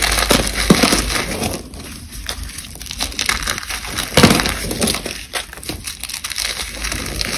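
One hand holds a solid chunk of dried white cornstarch paste while the fingertips and long nails of the other hand crush crumbles from a loose pile of the same material. The result is a steady, dense, bright crunching and crackling, with sharper, louder crunches near the start and again around the four-second mark.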